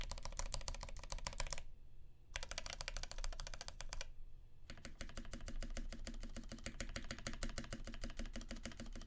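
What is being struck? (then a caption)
Mechanical keyboard with PBT keycaps and aluminum plate. Fingertips type steadily on a Percent Canoe 65% mechanical keyboard with a clear acrylic case, aluminum plate, filmed Alpaca switches lubed with 3204, and cream PBT keycaps, pressing individual keys and the spacebar. Rapid, deep clacks run in bursts with two brief pauses, then continue as a dense, even stream of keystrokes.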